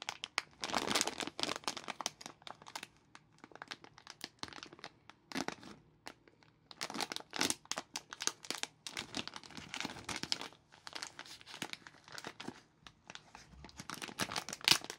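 Gloved fingertips tear open a small dark red printed plastic film packet of Fizzy Cola Bottles full of sweets, crinkling the film. Bright, dry crackles and crinkles come in dense bursts with brief quiet gaps, each snap dying away almost instantly.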